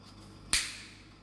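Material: Chocolate.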